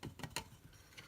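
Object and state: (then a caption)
Sturdy plastic fan blade set. A Honeywell double blade fan assembly's plastic blade set is tapped, giving four short, dry plastic ticks that die away almost at once. The blades sound sturdy rather than flimsy, made of a stiff plastic that barely bends but could break if bent.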